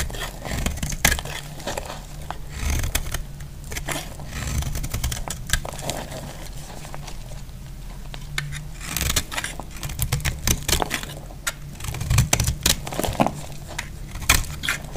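A solid, dry, off-white soap bar held in the hand is shaved with a metal utility knife blade, peeling off white flakes. Dry, crackly scraping strokes come in quick, uneven bursts, with sharper clusters near the end. A steady low hum runs underneath throughout.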